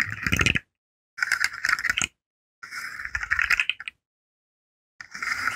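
A rainbow segmented hollow plastic fidget slug is curled and flexed with fingertips and nails, so its segments click against each other. Four bursts of dense, rattling plastic clicks, bright with a strong midrange around 1.5 to 2 kHz, are separated by short silences.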